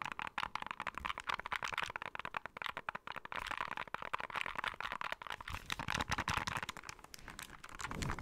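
Fingertips and nails tap and click on the buttons, d-pad and hollow back shell of a small white plastic handheld game console held in both hands. A rapid, dense stream of short, dry, bright clicks and taps follows, each dying away almost instantly, with a faint crinkly texture between them.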